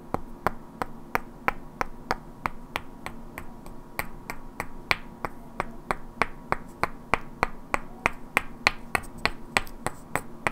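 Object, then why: Pair of solid wooden blocks. Two identical hand-sized solid wooden cubes with black painted characters are held in both hands and knocked and clicked against each other, while long natural nails also tap their edges. Over thirty sharp, dry clicks with a bright crack and almost no ring sound at an uneven pace of roughly three per second, over a faint steady low hum.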